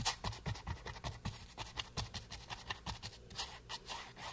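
A wooden-handled flat brush rubs and scrapes across a small, solid, green painted canvas board resting on a table. It makes a quick series of about twenty dry, scratchy strokes, each a bright bristly hiss with a soft low thump, that stop short with no ring.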